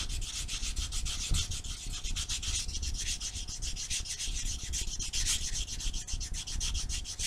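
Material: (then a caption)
Abrasive foam. A small solid foam nail buffer block with blue and white abrasive faces is rubbed quickly back and forth over black fingernails. The result is a steady stream of rapid, dry scratchy strokes with a bright hiss on top and a soft low rumble underneath.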